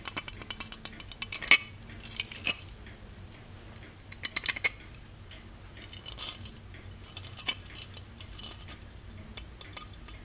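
Fingers tap and scratch the handle and body of a small, ornate, hollow gold-plated metal genie lamp on a pedestal base. Quick, bright metallic clicks and brief high scratching bursts occur, with short clinking tones that barely ring before fading.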